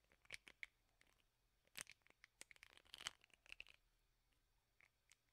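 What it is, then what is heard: Plastic hairbrush bristles strummed with fingernails. Fingernails strum and scratch the bristles of a teal plastic hairbrush with a black rubber bristle pad. The result is a quiet, bright series of short, crisp ticks, flicks and scratchy rasps, with a few denser crackling bursts and almost no low end.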